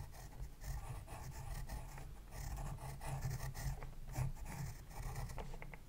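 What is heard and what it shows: A pencil tip scratches across the page of an open spiral-bound paper sketchbook lying flat on a desk, moving in a writing motion. The quiet, steady scratching sits over a low, dominant hum, with brief sharper strokes toward the end.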